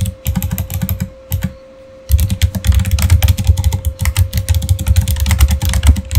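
Fingertips of both hands type steadily on a full-size Razer gaming keyboard with plastic keycaps, mechanical switches and an RGB backlight. Rapid clacking keystrokes with a deep thumpy body pause briefly around the two-second mark, then resume in a denser run. A faint steady tone hums underneath throughout.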